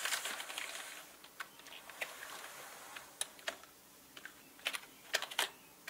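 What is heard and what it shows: Slow typing with the fingertips on a full-size black mechanical gaming keyboard with plastic keycaps and a hollow body. A busy cluster of keystrokes at the start gives way to sparser, sharp clicks and clacks that are bright and thin, with no low end and almost no ring after each press.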